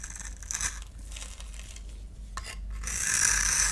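A solid orange bar soap held in the palm is scraped and carved with a utility knife blade into crumbly shavings. Bright, crisp scraping and crinkling come in uneven strokes over a low rumble, swelling near the end into a louder, steady high hiss of shaving.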